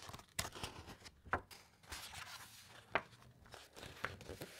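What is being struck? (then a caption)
Thick uncoated paper pages of a large book. Long white nails and fingertips rub and trace across the thick, uncoated printed pages of a large hardcover encyclopaedia lying open, then turn a page. Soft, dry papery scratching and rustling is broken by several sharp, bright crinkling snaps as the thick paper flexes and shifts.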